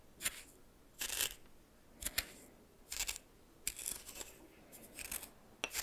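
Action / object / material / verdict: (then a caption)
scrape / coarse salt in a small bowl stirred with a plastic spoon / salt / none. A red plastic spoon stirs coarse salt in a small bowl, making short bursts of bright, gritty scraping and crunching. The bursts come in uneven strokes across the clip, with quiet gaps between them and very little low end.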